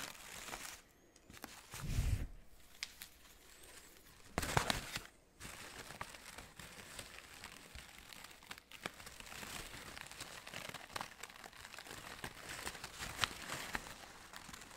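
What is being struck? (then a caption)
Synthetic fabric orchid flowers. Fingertips squeeze and crinkle the petals of red-orange synthetic fabric orchid blossoms. The result is a steady, soft, papery crinkling with bright rustle, broken by a few louder crunchy bursts and brief quiet gaps.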